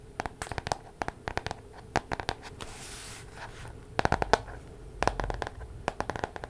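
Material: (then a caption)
Paper. Long nails scratch and tap the card cover of a paper weekly planner with metal spiral binding, held in both hands. The result is a quiet series of short, dry, crisp clicks and scratches, with a softer, brushing scrape in the middle.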